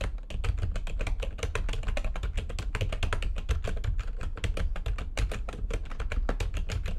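Both hands with long nails type fast on a full-size plastic backlit computer keyboard. A dense, steady stream of short, dry clicks and taps carries a deep thudding low end, with bright key clatter on top and almost no ring after each stroke.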